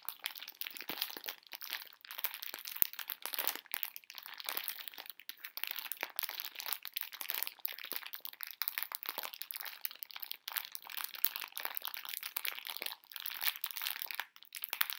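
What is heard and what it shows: A full pink plastic-film candy bag of conversation hearts is crinkled and squeezed with fingertips and long nails. The result is a steady stream of dense, bright, crackly crinkles with no low end, rising and falling in short bursts throughout.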